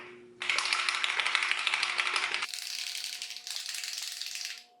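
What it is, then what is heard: Sunscreen bottle shaken, contents rattling. A plastic bottle of Shiseido mattifying sunscreen is shaken before applying, after something is noticed inside it. Its contents rattle in a quick, uneven run of bright clicking taps that stays strong for about four seconds, then fades out.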